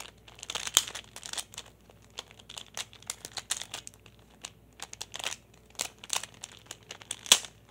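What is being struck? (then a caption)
Small plastic pyramid puzzle. A small hand-held solid plastic pyraminx puzzle with coloured stickers is tapped and fiddled with fingertips and nails. It gives a rapid, irregular run of dry, bright clicks, taps and crinkly scratches that stop almost at once. Two sharper, louder clicks stand out near the start and the end.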